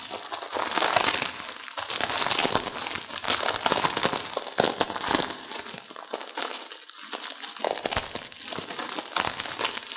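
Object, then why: Instant noodle pack in plastic wrapper. A small, partly broken-up instant noodle pack in a plastic wrapper is crushed and squeezed by both hands with long nails. Dense, irregular crinkling of the plastic mixes with bright crunching from the noodles inside, rising and falling in bursts throughout.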